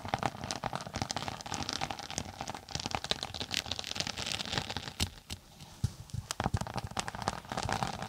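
A closed tablet-size case with a textured floral synthetic cover is held flat above the mic while long nails scratch across its textured top. The result is a dense, crackly scratching with many quick, dry bursts and a bright, rustling texture. Brief quieter gaps break up the steady scraping.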